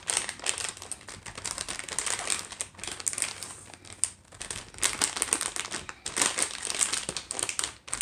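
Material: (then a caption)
Plastic. A sealed clear-and-printed plastic stir-fry noodle pouch with a block of noodles inside, lying on a wooden tray, is tapped and scratched with long acrylic nails and then flipped over. The result is dense, fast, bright crinkling and clicking with quick sharp taps and almost no low end, with brief pauses near four and six seconds.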